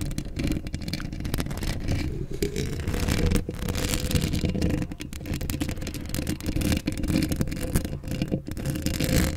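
Long acrylic nails scratch across a hollow steel mesh microphone grille up close. The result is a dense, continuous rasping scrape with a heavy, rumbling low end and a faint tone near 200 Hz, holding a fairly steady level throughout with quick flickers of brighter scratchy texture.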